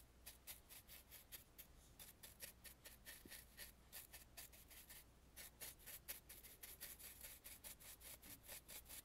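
A black bristle brush sweeps across the carved, gilded brow of a painted wooden mask in about 29 quick strokes. Each stroke gives a dry, bright, scratchy swish, with a brief lull near the middle before the strokes pick up again. A faint low hum sits underneath.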